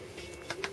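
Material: Foam board.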